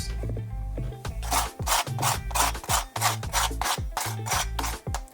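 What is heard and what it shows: A crispy quesadilla tortilla is scraped or rubbed in a pan, giving repeated dry, rasping strokes that sound like cardboard. Background music plays underneath, and the sound shows the shell is dry and crisp.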